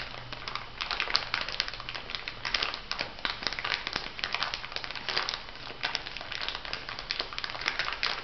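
Long nails and fingertips press and scratch a small clear plastic bag filled with white granules. The result is a steady run of bright, dense crinkling with many quick crackly ticks and a faint low hum underneath.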